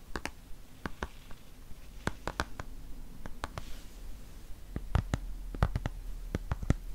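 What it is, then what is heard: Plastic cosmetic tube. Long fingernails tap and scratch a dark green plastic squeeze tube of cream, hollow and partly filled. The result is a series of short, sharp, dry clicks with brief scratchy textures over a steady low rumble, each tap dying away almost instantly.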